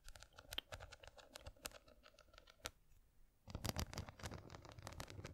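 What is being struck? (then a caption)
Small box covered in rhinestones. Long nails scratch across a small square box covered in glass or plastic rhinestones, making a quiet run of fine, bright ticking clicks and scrapes. After a brief near-silent pause, the grip on the same box changes and the scratching comes back louder and denser, with fuller low rubbing beneath the sharp clicks.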